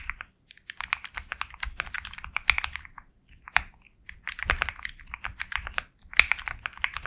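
A compact 65% mechanical keyboard with a black case and white and black plastic keycaps is typed on quickly with the fingertips. The result is rapid bursts of bright, crisp clacks with brief pauses between runs, plus a few louder, sharper strikes standing out.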